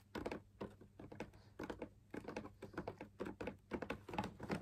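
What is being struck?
Fabric-laminated drum lamp shade.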